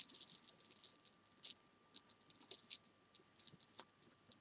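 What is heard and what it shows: Small solid jelly beans on a sofa are swept and tapped with long painted nails. They make a fast, bright rattle of many short, crisp clicks in clustered bursts. The clicks have almost no low end.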